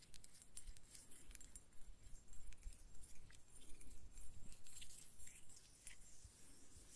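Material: Glass.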